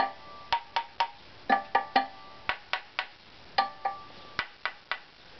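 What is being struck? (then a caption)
Spruce violin top plate. An unvarnished, thin, hollow-arched spruce violin top plate with the bass bar fitted is held in one hand and tapped 14 times with a small wooden stick. Each tap gives a dry, woody knock with a clear tone near 790 Hz that dies away quickly. The taps fall in loose groups at an uneven pace.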